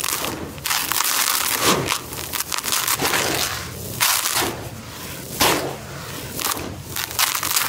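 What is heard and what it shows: Dry grey crushed concrete grit sits in a white tub while palms scoop it from the edges and crumble it through the fingers. It makes bright, gritty crunching and crackling in repeated bursts, with a steady sandy hiss trickling between them.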